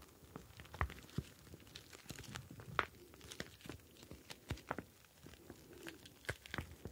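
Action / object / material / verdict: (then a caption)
scrape / plastic pouch filled with gel beads / plastic / none. A clear plastic gel bead ice pack, a pouch filled with blue gel beads, is kneaded with both hands so the beads slide around inside. The result is quiet, irregular crinkling and squishing with sharp little clicks and brief bright taps scattered throughout.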